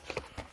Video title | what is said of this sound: RENFORTS POUR CLOISON EN PLACO - RENFORTS POUR INSTALLER DES ÉLÉMENTS LOURDS - ÉPISODE 46 | vous voyez ça sonne pas creux hein ça dérange pas